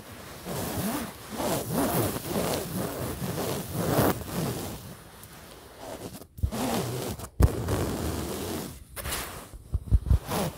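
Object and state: Fabric pillow.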